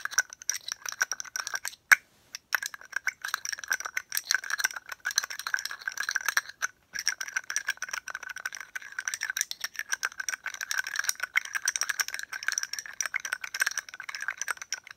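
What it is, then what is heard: Glass perfume bottle. A rounded purple glass perfume bottle with a gold metal cap is held in hand and tapped with long painted nails. The result is a rapid, continuous stream of bright, short clicks that ring at about 1.5 kHz, with a few brief pauses.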